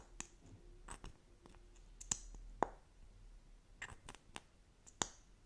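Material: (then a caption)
Plastic. Long acrylic nails quickly tap a small, slim plastic lip gloss tube that appears filled and is held horizontally. Sharp, dry, bright clicks come at an uneven pace over quiet, soft scratchy handling noise. Each tap dies away almost instantly with no ring.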